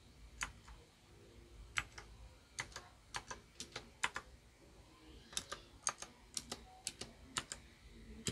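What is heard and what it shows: Fingertips press individual keys one by one on a small white plastic Royal Kludge RK61 RGB wireless mechanical keyboard, lighting them up as they go. Each press gives a sharp, bright, dry click that dies away almost at once, with quieter release ticks between the presses. A steady stream of clicks sits over a faint low hum.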